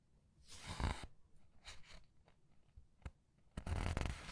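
Fingertips with long red nails turn, squeeze and rub the thick glossy paper pages of a large hardcover art book lying open on a white table. Soft, bright rustling swishes rise and fade, with quieter crinkles and brief ticks between them. A louder, sustained rustle closes the clip.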